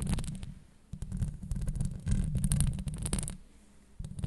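Long blue acrylic nails scratch over the top and sides of a hollow woven steel microphone grille. The scratching comes as a dense, low, rumbling scrape with rapid irregular taps and brief bright clicks. It swells and fades in several bursts.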